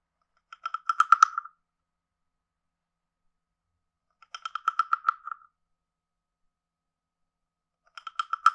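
A wooden stick taps the lower edge of a hand-sized, carved, hollow wooden frog guiro with a ridged back. It gives three quick bursts of dry, woody clicks with a hollow, croak-like tone around 1.3 kHz, separated by long silences, and the last burst is cut off at the end. Each tap dies away almost at once, with no low end.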